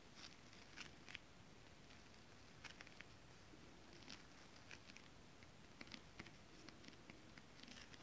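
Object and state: Holographic scale-print fabric tapped with nails.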